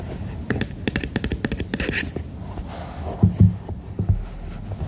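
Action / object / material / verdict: tap / silicone night lamp / silicone / none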